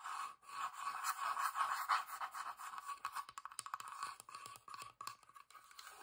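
Long dark nails scratch the flat, grainy wooden underside and sides of a small hollow box. A dry, scratchy rasp centered around 1 kHz runs steadily for the first two seconds, then breaks into quick, uneven strokes with short gaps between them.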